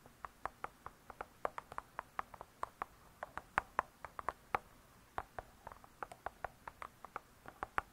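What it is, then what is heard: Spiral-bound hardcover book. Long fingernails tap and scratch the cardboard cover of a spiral-bound hardcover cookbook. About 37 quick, dry, quiet taps come in uneven bursts with short pauses, each a crisp click centered near 1 kHz that stops almost instantly. Faint scratching fills the gaps over a soft hiss.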